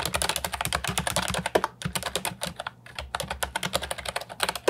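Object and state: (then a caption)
Plastic keyboard with round keycaps being typed on. Fingertips type rapidly on an Ajazz 308I, a compact hollow plastic keyboard with round typewriter-style retro keycaps. It makes a steady run of short, bright clicks and clacks with a hollow plastic tone, each dying away almost at once, with a couple of brief pauses and a few louder strikes.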